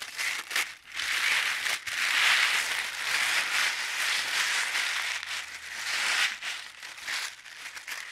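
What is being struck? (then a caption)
Thin paper sheet. A thin, translucent white paper sheet on a dark table is rubbed flat with the hands, then gathered up and crumpled between the fingers. The result is a steady, bright, hissy crinkling concentrated around 2 kHz, with almost no low end, swelling and fading with brief dips between strokes.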